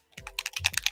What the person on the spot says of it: these come with agitators in there it's like a little ball bearing bb size in there you hear it to help shake it up